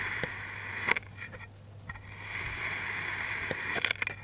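A steel knife cuts and scrapes through a solid green kinetic sand block that is already partly sliced. A steady, bright, grainy hiss runs throughout, with a quieter dip in the middle and sharp crackly snaps near the start and end as the blade drags through the sand.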